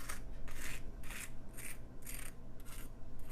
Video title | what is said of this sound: Roast Chicken and Vegetables - Isobe Food | I want you to hear how crispy the skin is